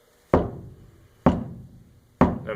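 Three taps on a steel floor pan, away from any crossmember, with several coats of Lizardskin sound-deadening coating on its underside. Each tap gives a short, low, dull thud that fades quickly. The pan sounds damped, without the familiar ring of a bare floor pan.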